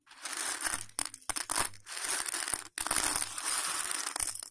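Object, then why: Dry elbow macaroni pasta. Fingers scoop, rub and crunch handfuls of dry, hollow, raw elbow macaroni spread on a patterned plate. The result is a series of bright, dry crunching and crinkling bursts with brief pauses between handfuls.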